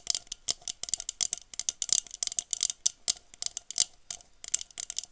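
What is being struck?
Textured glass goblet.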